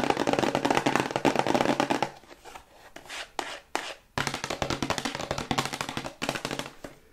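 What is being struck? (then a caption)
Small hexagonal cardboard box. Long white acrylic nails tap quickly on a small white hexagonal cardboard cosmetics box with a gold star while it is turned in the hands. Dense, crisp, dry clicks fill the first two seconds, then thin to a few softer taps and a brief lull before the rapid tapping resumes. Each tick is short with no ring.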